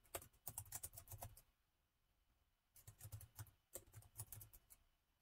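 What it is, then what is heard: Plastic laptop keyboard being typed on. Both hands type with their fingertips on the plastic chiclet keys of a gold laptop keyboard. Quick, soft key clicks with a dull low thud and a bright tick come in two bursts, separated by a brief quiet pause. Each click dies away almost at once.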